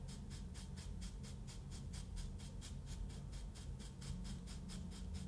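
A solid loaf-shaped block of moulded kinetic sand with a ridged top, resting on a wooden table, is stroked and brushed with a wooden-handled paintbrush. The result is a steady run of soft, rhythmic, bright brushing swishes over a low, constant background rumble.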